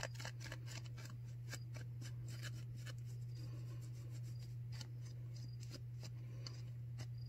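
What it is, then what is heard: Disposable face mask being scratched. Long nails scratch along the edges and ear loops of a white disposable non-woven paper surgical face mask worn on the face. Quick, bright, crisp scratches repeat throughout over a steady low hum.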